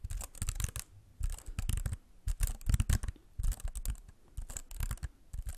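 Fingertips tap and lightly scratch the plastic keys of a slim white computer keyboard held close in front of the microphone. Quick bursts of soft, clicky taps with a deep, thumpy low end and bright edges alternate with short quiet pauses. Each tap stops almost at once, with no ringing.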